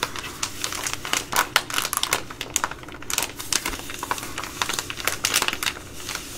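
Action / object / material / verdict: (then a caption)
scrape / foil-lined plastic food pouch / plastic foil / none. An opened Ready Rice plastic foil pouch with a metallic foil interior is crinkled in the hands, then scratched against a table with long nails. Dense, bright crackles and sharp clicks pile up with very little low end, each snap dying away almost instantly. The pouch produces a steady, busy stream of crinkling.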